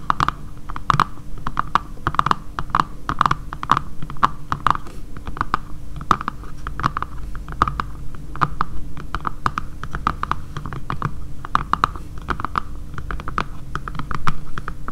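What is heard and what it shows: Long painted nails tap and lightly scratch the back of a dark grey matte plastic phone case lying flat on a table. Quick, irregular, close-up clicky taps with a hollow resonance around 1.2 kHz sound over soft scratching and a steady low hum. The taps die out almost instantly.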